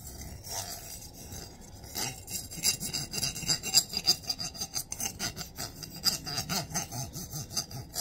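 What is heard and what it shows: A long stack of gold-coloured metal coins held in the hands as fingertips and nails rub and scrape along the ridged coin edges. The result is a quick, uneven string of bright, dry rasping scrapes with little low end and almost no ring.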